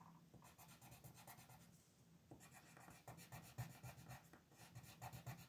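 A yellow wooden colored pencil is rubbed and scratched across a thin paper coloring sheet lying flat on a desk to shade a design. Quiet, rapid back-and-forth strokes, about four per second, produce a soft, dry scratching with bright, papery streaks over a low rustling body.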